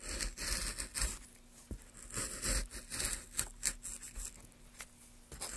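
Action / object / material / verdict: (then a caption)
scrape / basswood block / basswood / none. A gloved hand holds a solid, pale basswood block while a carving chisel scrapes and cuts long strokes along its surface. Bright, hissy scraping bursts rise and fade between quieter gaps, with a few short, sharp ticks. A faint, steady low hum runs underneath.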